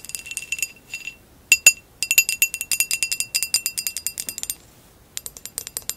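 Long acrylic nails tap and scratch the woven relief pattern of a hollow amber textured glass vase lying on its side. The result is quick, bright, clinking taps with a faint ringing tone, in irregular bursts separated by short pauses.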